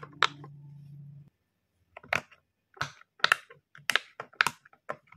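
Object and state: Silicone pop-it fidget toy being popped.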